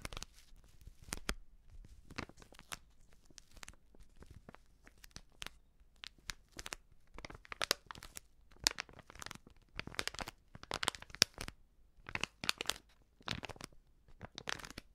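Long nails scratch and crinkle a filled, medium white Prix Garantie plastic seasoning bag. Dozens of sharp, bright crinkling and tearing-like bursts come in irregular clusters, with quiet gaps between them. Each burst is dry and short with almost no ring.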